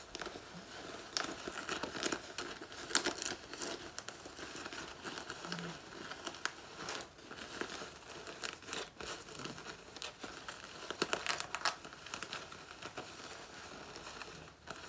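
A shredded black faux leather jacket, taken off and held bunched in the hands, is crumpled and scratched with long nails. Dense, bright crinkling and scratchy rustling run continuously, with quick sharp scrapes rising out of the steady crackle.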